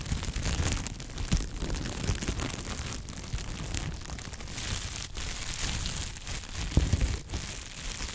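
A large, clear sheet of plastic bubble wrap, folded and held in gloved hands, is crinkled, squeezed and rubbed with the fingertips. It makes a steady, dense crinkling and rustling with a low, rumbling handling noise and a bright hiss on top. A few sharper crackles and pops stand out along the way.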